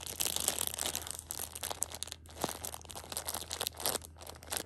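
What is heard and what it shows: A Shopkins pocket tissue 6-pack in clear plastic overwrap lies flat while fingertips and long painted nails scratch and press the crinkly film, and a flat hand rubs across the top. Dense, bright crinkling and scratching comes in quick bursts with little low end, with a steady low hum underneath.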